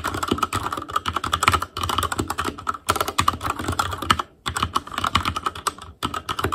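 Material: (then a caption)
Plastic. Fingertips type continuously on the plastic keycaps of a black Asus Claymore Core plastic mechanical keyboard. The result is a dense stream of sharp, short clicks and clacks with a tonal ring near 1.3 kHz, bright upper clatter and a soft low thump under each stroke. The typing breaks off briefly a few times before resuming.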